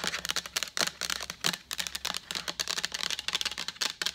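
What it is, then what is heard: Plastic pitcher. Long acrylic nails tap rapidly on the side of a large, empty, translucent plastic pitcher with a lid. The result is a quick, uneven run of bright, sharp clicking taps that die away almost instantly, with almost no low end.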